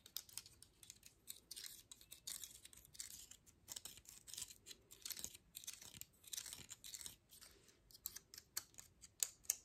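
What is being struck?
Pine cone.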